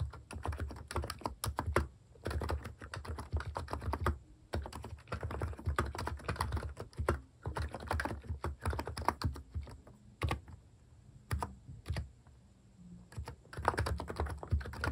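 A compact plastic mechanical keyboard with cat keycaps, resting on a wooden desk, is typed on quickly with the fingertips. Dense bursts of short, clacky keystrokes carry a strong low thump and die away almost at once. Brief quieter pauses fall between the runs of typing.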